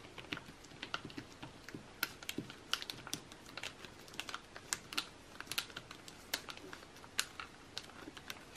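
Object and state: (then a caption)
Glossy paper magazine. An open glossy paper magazine lies flat on a table, and both hands rapidly tap and scratch the same spread with fingertips and nails. The result is a quiet, steady flurry of short, dry, bright clicks and crisp scratches with almost no low end, much like fast typing.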